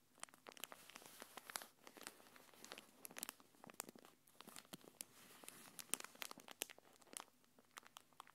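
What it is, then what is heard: Plastic packaging film being crinkled. A thin, translucent plastic packaging wrapper is held between both hands and crinkled and rubbed with the fingertips and long nails. The result is a dense, quiet stream of bright, crackly crinkles and sharp, short snaps with almost no low end.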